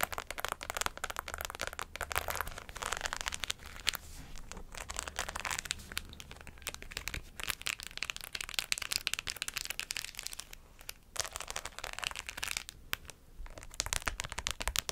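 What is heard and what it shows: Long acrylic nails scratch and tap a hollow white fabric cap held in the hand, fully covered in rows of plastic pearls and rhinestones. A dense stream of bright, crinkly clicks and scratchy rattles continues throughout with quick, dry taps that stop almost instantly, over a faint steady low hum.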